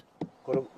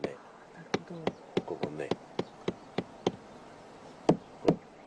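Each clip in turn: First: hollow, dead section of an old tree trunk. Second: solid living part of an old cherry trunk.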